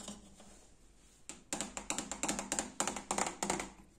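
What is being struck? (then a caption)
Painted steel fridge door. Fingertips and nails tap on the white painted steel door panel of a small Liebherr fridge; the door is hollow and insulated, with a plastic handle. After a quiet start, a quick, irregular series of bright, short taps begins, each with a brief hollow ring.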